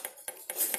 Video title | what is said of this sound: Hướng dẫn Phân biệt càng (kiếm) Nhôm , thép, carbon cùng Xe Đạp Hải Phòng .com | gõ vào nghe nó đanh hơn, nghe nó đanh hơn